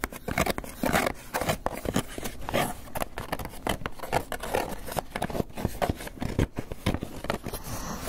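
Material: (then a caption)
Polystyrene foam. A small, hollow, closed white polystyrene foam clamshell takeout box is held close and scratched and tapped on the lid with fingernails. Rapid, dense scratches and taps run throughout, with crackly, squeaky scraping and short, dry knocks that die away at once. Most of the energy sits in the low and middle range, with little high end.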